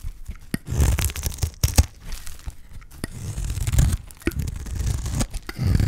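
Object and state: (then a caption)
Dry soap bar being shaved. A utility knife blade scrapes and shaves thin strips off a solid bar of dry green soap. The result is repeated dry, crunchy tearing strokes with a deep low thud underneath and sharp clicks, each ending abruptly.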